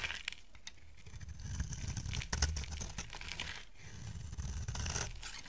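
A solid lilac soap bar held in the hand is shaved with a utility knife blade. The result is a steady run of dry scraping and crinkly tearing sounds, with a low rumble underneath and bright crackles on top, plus short sharp scratches scattered throughout.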